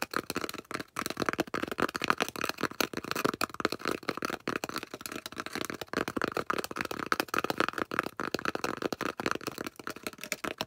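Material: Polystyrene foam.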